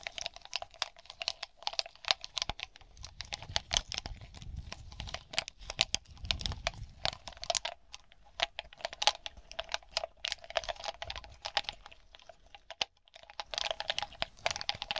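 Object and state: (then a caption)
Glass bauble cluster. Long glossy nails tap rapidly on a close-held glass bauble grape cluster, a bunch of small hollow smoky glass balls. The result is a dense stream of short, bright clicks and ticks with a faint glassy ring around 700 Hz and a light scratchy, crinkly texture. The tapping briefly pauses near the 13-second mark before resuming.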